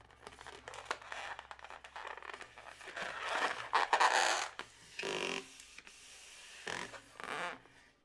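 A yellow latex modelling balloon, twisted into two air-filled segments, is scratched and squeezed at the twist by long natural nails. The result is a run of squeaky rubbery scrapes and rasping rubs, with brief tapping clicks between louder stretched squeals.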